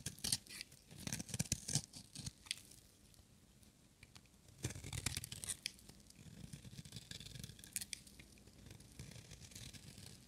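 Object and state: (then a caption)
Dry bar of soap. A metal utility-knife blade shaves a small, solid, pink-and-white striped bar of dry soap held in one hand, cutting off crumbly flakes. Dry, crisp scraping strokes come in quick bursts, bright and crackly with a soft low rustle beneath. Short pauses fall between the clusters of cuts.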